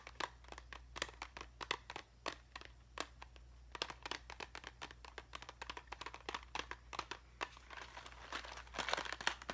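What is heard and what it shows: Long fingernails tap and scratch a small clear plastic cube box full of craft gems, making quick, bright, crisp clicks that come in uneven clusters over a steady low hum. Toward the end, the tapping turns into a denser, brighter scratching rustle before it fades.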